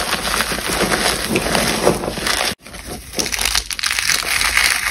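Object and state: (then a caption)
Dry, brittle cornstarch paste. Long blue-painted nails and fingertips squeeze and crush chunks of large, solid, brittle, cracked white blocks of dried cornstarch paste inside a black bag. A dense, bright, crunchy crackling runs steadily, breaks off in a brief silence just past halfway, then resumes. The chunks break down into powdery crumbles.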